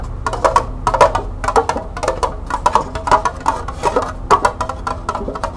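Long nails quickly tap and scratch the bottom and sides of a small, hollow, empty green plastic cup, first while it sits upside down on a table and then while it is held. The result is a fast, uneven patter of dry, hollow clicks with a woody, mid-pitched knock near 1 kHz. Each click dies away almost at once over a faint low background hum.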